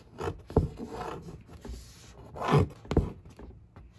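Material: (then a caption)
Cardboard. A long fingernail traces letters and scratches across the dark printed surface of a large, hollow cardboard monitor box. Uneven strokes of dry scraping alternate with short, sharp taps. The hollow box gives them a dull, low-heavy thud with no ring.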